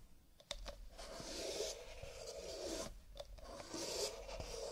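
Fingertips rub and scratch along the ridged rims and cardboard body of a stack of nested empty paper cups, lying sideways and held in both hands. A continuous dry, papery scraping rises and falls in waves, with a hollow tone near 570 Hz and a bright hiss. Occasional sharp clicks cut through the rubbing.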